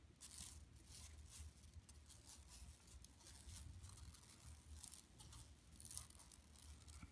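Long nails scratch across an empty, flat yellow woven plastic mesh tote bag lying on carpet. The result is a quiet, continuous scratchy rasp with bright, crinkly bursts over a soft low rumble, swelling and easing in uneven strokes.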